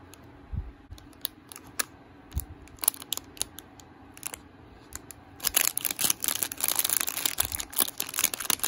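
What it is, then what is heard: Plastic-wrapped snack bar. A small, solid Rice Krispies Treats Chocolatey Chip Cookie Dough bar, sealed in a glossy plastic/foil wrapper, is held in both hands while fingertips and nails press, tap and crinkle the wrapper. Sparse, sharp, bright clicks and taps come first over a quiet background. About halfway through, they give way to dense, continuous, high-pitched crinkling.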